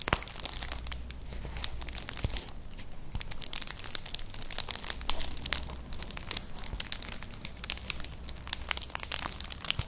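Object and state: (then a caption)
Woven straw clutch bag scratched. Long nails scratch across a flat, colourful woven straw-like clutch purse, about book-sized and hollow, held upright. The result is a dense, continuous run of dry crinkling and scraping with many bright, sharp ticks over a low, steady hum.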